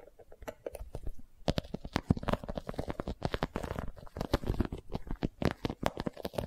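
A boxy, iridescent holographic vinyl cosmetic pouch with a zipper is turned in the hands while long nails tap and scratch across it. The result is a dense run of quick, dull, low-weighted taps mixed with soft scratching and faint crinkling of the vinyl, each hit dying away almost instantly.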